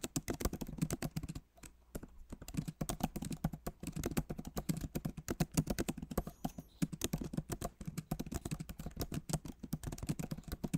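Rapid fingertip typing with both hands on a backlit MacBook Pro Magic Keyboard, which has plastic keycaps set in an aluminum body. Dense, steady streams of short, dull clicks and taps carry a low thump, with brief pauses in the flow.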